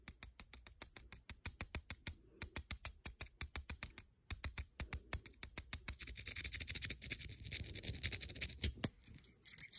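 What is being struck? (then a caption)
Small metal coin held in the fingers. A fingernail taps and scratches the face and rim of a small, solid, silver-coloured metal coin held between fingers. It makes a quick run of short, sharp clicks with a faint high metallic ring, each dying away almost at once. After about six seconds it turns into a denser, continuous bright scratching rasp, with a few taps still cutting through.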